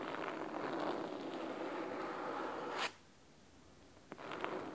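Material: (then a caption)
Cloth. Fingernails scratch the cloth spine and top edge of a large, thick, red fabric-covered hardcover book, making a continuous crisp, rasping scratch for about three seconds. The sound stops abruptly, leaving near silence before the scratching resumes just after four seconds.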